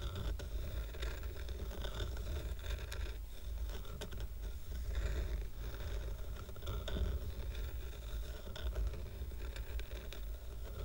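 Fingertips and short nails scratch the painted top and wooden edges of a stack of square painted wooden coasters with a red heart design, tied with twine. The result is a steady run of dry, rasping scratches over a dense low rumble, with a few brighter scraping streaks and no lasting ring.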